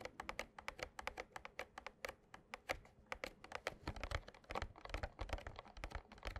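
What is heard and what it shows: Fingertips and short nails tap a small printed cardboard Yu-Gi-Oh Slifer structure deck box filled with cards as it is tilted by hand on a playmat. About 38 quick, light taps sound as dry, papery clicks with a soft low thump and no ring, in a steady, irregular patter.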